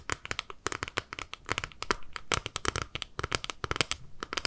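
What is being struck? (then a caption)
Small clear plastic cosmetic compact. A small, flat, clear plastic eyeshadow palette, held in both hands, is scratched and tapped with long nails. Quick, sharp, crackly clicks and scrapes come in a rapid irregular stream, bright and crinkly with little low end. Each tap stops almost instantly, and the overall level stays fairly quiet.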